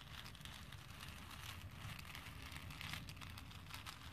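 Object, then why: Small plastic pearl beads in a plastic bowl. A hand with painted nails rakes and stirs through a plastic bowl full of small, solid plastic faux pearl beads. It makes a steady, quiet clattering rattle of bright, high ticks over a low, soft rumble, with no clear pauses throughout.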